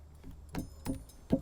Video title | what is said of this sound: Trad Climbing Basics- Placing Your Nuts! | this whole block here is loose and a great way to find that out is you give it a tap